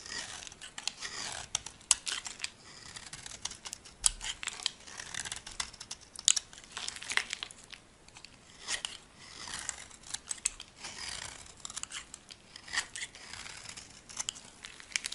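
A solid, dry white bar of soap held in the palm is shaved with a metal blade, cutting off thin curls. The clip is a steady run of dry, bright scraping and crisp crackling cuts, coming in short bursts with little low end and no ring.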